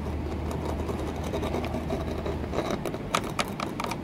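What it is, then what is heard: Textured glass window pane. Long fingernails tap an embossed green textured glass window pane set in a wooden frame, sometimes striking near the frame's edge. Short, sharp, bright clicks with a faint glassy ring around 1.25 kHz sound over a steady low hum, growing louder and more distinct in the second half.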